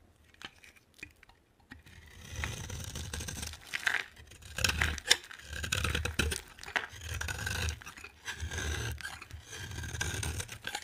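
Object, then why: Bar of soap scraped with a metal blade. A solid, hand-sized bar of dry green soap, held in one hand, is carved and scraped with a metal utility knife blade, and shavings pile up beside it. After a few faint ticks, repeated dry scraping strokes begin, each a bright, crackly rasp over a soft low rumble, with short pauses between cuts.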